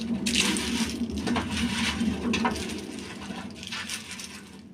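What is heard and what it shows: A freshly baked, still-hot puff pastry ball with cheese filling and a sesame coating is crunched, giving a dry, crisp crackling over a steady low hum that fades toward the end. The pastry turned out great: very crispy and baked through.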